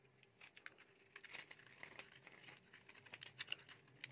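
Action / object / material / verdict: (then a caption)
scrape / bar soap scraped by a metal blade / soap / none. A metal utility knife blade scrapes and shaves flakes off a solid, dry, light green, palm-sized bar of soap held in the hand. The result is a quiet run of quick, crisp, bright scraping crackles in short bursts, with a faint low hum underneath.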